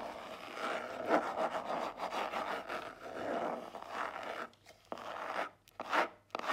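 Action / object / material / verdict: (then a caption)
scrape / small cardboard jewelry box / cardboard / none. Long nails tap and scratch the front of a small black cardboard jewelry box held upright on a table. A steady dry, papery scraping fills the midrange with no low end, then breaks into short scratches and sharp taps separated by brief silences near the end.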